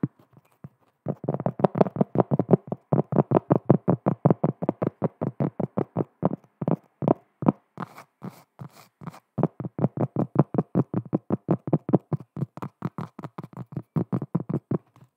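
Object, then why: Flat cork trivet. Long acrylic nails tap and scratch the face of a large, flat, round cork trivet, which is solid and thin and held in both hands. The result is a fast, uneven run of short, dull, low thuds with almost no ring. Around the middle, the tapping thins into lighter, brighter scratching before the steady tapping resumes.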